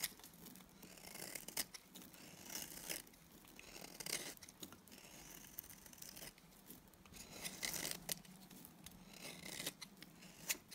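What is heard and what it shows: A solid, dry, pale green Timotei soap bar held in the hand is shaved with a box cutter blade. Quiet, bright, crisp scraping and cutting strokes repeat in uneven bursts, each dying away almost at once, with little low end.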